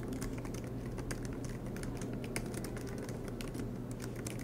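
Both hands type continuously with their fingertips on the black plastic low-profile keys of a MacBook Pro laptop with a silver aluminum body, resting on a green desk mat. The result is a rapid, steady stream of light, bright key taps over a constant low hum.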